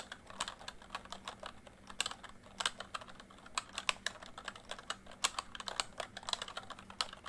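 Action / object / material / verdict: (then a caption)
tap / plastic membrane computer keyboard / plastic / none. Fingertips type steadily on a full-size plastic MSI backlit membrane keyboard, producing a quick run of short, bright key taps at an uneven pace. Each tap stops almost at once with no ring, over a faint, steady low hum.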